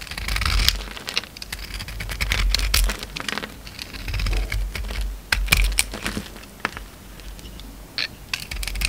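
A utility knife blade shaves and carves the black glitter coating off an oval, solid white bar of soap held in the hand, lifting it away in curls. Crisp, bright scraping and crackling strokes come in an irregular stream over a steady low rumble.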